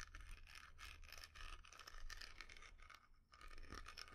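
Long nails scratch and tap the lid and sides of a small, round, dark-red wooden jar with a carved inlaid lid, hollow and closed. The result is a continuous dry, bright scratching texture with quick light taps over a steady low hum, with a brief quieter pause just past three seconds.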